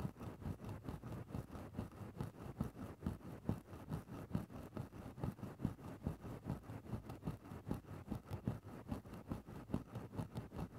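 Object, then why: Synthetic-fur microphone windscreen scratched with a thin stick. A thin bamboo stick scratches into a grey synthetic-fur microphone windscreen. It makes a steady run of low, muffled, crackly rustling strokes, roughly two to three per second, with uneven spacing. Each stroke is short and dry with no ring.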